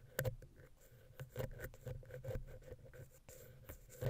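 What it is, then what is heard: Metal mesh microphone grille, scratched and tapped. A wooden ear pick scratches and taps the centre of the metal mesh grille on a small, hollow silver XY mic capsule on a Zoom H6 recorder. It makes close, low-heavy thumps and scratchy rubbing with short, dry taps and a faint hollow tone around 500 Hz. Louder taps land near the start and the end.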